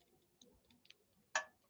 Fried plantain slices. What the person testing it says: Can you guys hear that? How crispy that is?